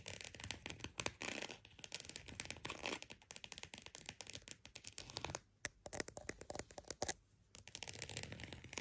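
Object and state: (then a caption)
Croc-textured purse being scratched and tapped. A croc-embossed purse is tapped and scratched, giving dense, rapid, dry crackling taps and scrapes with a bright, papery texture. The sounds come in busy bursts that briefly thin out near the middle and fall almost silent just past seven seconds before the scratching picks up again.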